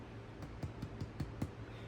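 A freshly baked Pullman loaf is tapped, giving a series of soft, low, hollow thumps with very short decay. The hollow sound indicates the bread is baked through.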